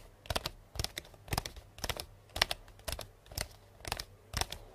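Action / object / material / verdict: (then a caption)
tap / paper-wrapped cardboard box / cardboard / none. Long painted nails tap quickly on the side of a hollow, medium cardboard box wrapped in pink star-print paper with a purple ribbon bow. The sound is a series of short, irregular bursts of dry, bright clicks with a hollow, papery body and almost no ring after each tap.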